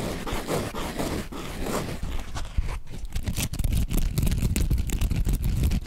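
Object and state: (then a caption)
Foam sponge squeezed and scratched. A hand-sized yellow foam sponge held in both hands is squeezed and scratched with the fingertips close to the microphone. It makes a steady stream of soft, irregular scratching and squishing with a dull low body and faint bright crackle, growing a little louder and busier in the second half.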